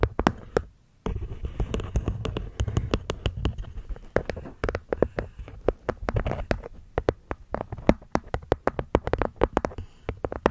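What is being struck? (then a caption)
Small hexagonal wooden box with cork lid. Long nails tap the wooden sides and cork top of a small, hollow hexagonal wooden box in a quick, steady run of crisp, dry taps. The taps have a hollow, low-weighted body and almost no ring, with a brief pause near the first second before the tapping resumes.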